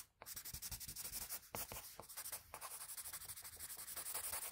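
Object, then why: Sheet of drawing paper rubbed with a graphite pencil. A graphite pencil held flat rubs repeated shading strokes across a sheet of drawing paper. The result is a steady run of quick, closely spaced scratchy swishes, bright and hissy in tone, with a brief pause about one and a half seconds in before the strokes resume.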